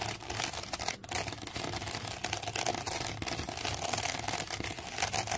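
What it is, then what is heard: Wicker basket. Long fingernails scratch the side of a woven wicker basket resting on carpet. The result is a steady, dense stream of dry, bright crackling and rasping that continues without pause.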